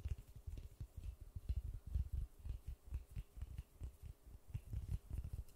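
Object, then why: Polystyrene foam ball. A large white polystyrene foam ball is cupped in white-gloved hands close to the mic, with fingertips and palms tapping and rubbing its surface. The result is a quick, irregular run of soft, dull, muffled thumps that are almost entirely low in pitch and die away instantly, with faint brushing in between.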